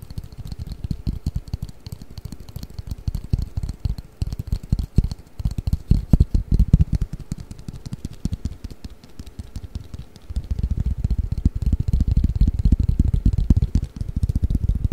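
Fingertips and nails tap and scratch a long, flat, hollow cardboard Mikado pick-up sticks box held above the microphone. The result is a dense, continuous patter of short, dry, low thuds with very little ring. The texture thickens and grows denser in the last few seconds.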